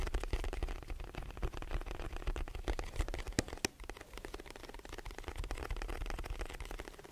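Fingertips of both hands tap the broad face of a hollow white rectangular cardboard box held in front of and beside the microphone. The result is a fast, irregular patter of soft, dull, low thuds, each dying away almost at once, with a few sharper, brighter taps standing out near the middle.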